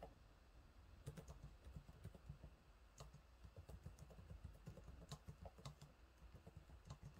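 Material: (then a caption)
Plastic. Fingertips type on the low-profile plastic keys of a silver laptop keyboard, making a steady run of soft, quiet taps. Each tap is a short, dull thud that dies almost instantly, and a few land harder with a sharper, brighter click. A low, even background hum sits underneath.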